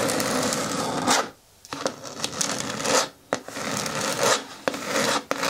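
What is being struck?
Hard plastic bin with lid.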